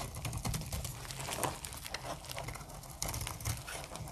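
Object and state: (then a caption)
Dry soap bar being shaved. A metal utility blade repeatedly shaves curled flakes off a hand-held, solid, translucent amber bar of dry soap. The result is a steady run of quick, crisp scraping strokes with a soft low body and bright crackly edges.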